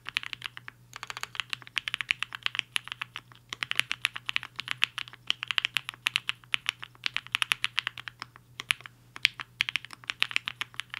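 Fingertips of both hands type on a HI-FINGER 7.5, a black-cased 75% mechanical keyboard with a hollow case and white and pink plastic keycaps, resting on a desk mat. Rapid bright, clacky keystrokes come in quick bursts with brief pauses between, each click short and dry over a faint low steady hum.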